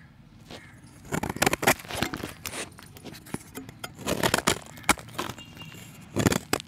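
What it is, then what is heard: Chalk block. A solid, round, pale chalk disc held in hand has its surface scraped with a utility knife blade, shedding powder. Dry, crackling scrapes and crunches come in uneven bursts, some sharp and bright and others softer and gritty.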